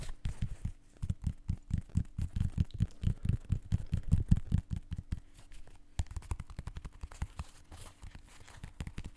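Fingertips and ringed fingers tap and scratch the side of a blue and white synthetic mesh sneaker with a foam sole, held close to the mic. A rapid run of dull, low, muffled thumps with almost no ring comes first, then softer, quicker tapping and scratching over the last few seconds.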